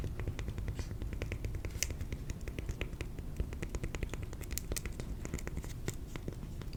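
A piece of cork is tapped in a quick, steady run of short, dry clicks. Each tap is brief with almost no ring, over a constant low rumble, and some taps carry a brighter edge.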